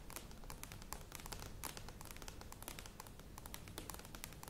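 A medium plastic yogurt tub with a lid, standing on a table, is tapped and scratched quickly with long nails. Rapid, bright clicks and crackly scratching run continuously over a soft low rumble.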